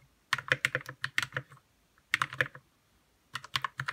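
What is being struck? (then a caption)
Plastic mechanical keyboard with plastic keycaps. Fingertips type on a white 60% RK61 mechanical keyboard with plastic keycaps and lubed red switches, making about 17 short keystrokes in three quick bursts separated by brief pauses. Each press gives a crisp, bright clack over a soft low thock that dies away almost instantly.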